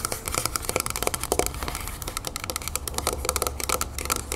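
Long painted nails on both hands rapidly tap all over a medium, hollow, copper-colored Vaseline Spray & Go moisturizer metal aerosol spray can standing upright on a wooden table. About 26 quick, bright, clicky taps each ring only briefly with a faint hollow metallic tone, over a steady low rumble.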